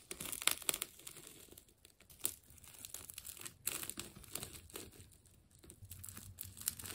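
A utility knife slices through the layers of a partly cut, wound green and yellow plastic tape ball. Bright, dry crinkling and tearing crackles come in uneven bursts with sharp snaps, and there is almost no low end.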